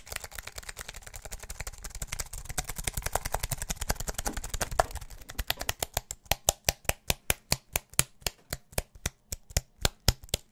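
A slim aluminium and plastic wireless keyboard, held vertically, is tapped rapidly on its plastic keys with fingertips. For the first five seconds the taps blur into a dense, fast clatter with a low thump beneath. The tapping then slows into distinct, sharp, bright clicks that end quickly.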